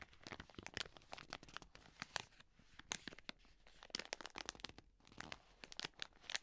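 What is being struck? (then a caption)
Soft plastic wet wipes packet. A full, soft plastic wet wipes pack is held in both hands and squeezed and crinkled while long nails scratch its film. The result is a dense run of quick, bright crackles and scratchy rustles with almost no low end.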